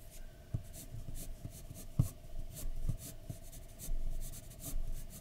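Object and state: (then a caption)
Pencil drawing on paper. A graphite pencil scratches and shades a flat white paper drawing sheet resting on a dark desk. Soft, scratchy strokes come in short bright bursts over a low rustle, with three sharp taps standing out along the way.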